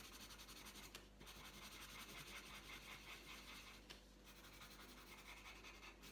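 The tip of a purple wooden coloured pencil scratches and rubs across a thin, flat sheet of printed paper lying on a tabletop while colouring. It makes a steady, bright, papery scratching in quick back-and-forth strokes over a faint low hum, with two brief sharper ticks where the strokes change.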